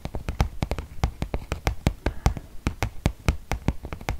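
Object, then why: Paper gift bag. Fingertips and nails tap on the flat side of a medium white glossy paper gift bag with rope handles and a teal Batiste logo, apparently empty, held up in one hand. About two dozen quick, unevenly spaced taps each make a dull, papery low thump with a short bright click, dying away almost at once.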